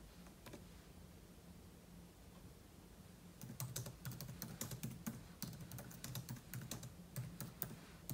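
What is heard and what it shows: Fingertips with short nails type on the plastic keys of a silver aluminum laptop keyboard, with an open book lying untouched beside it. After about three seconds of quiet low hum with a few faint taps, a burst of irregular, bright, crisp key clicks follows over a steady low hum.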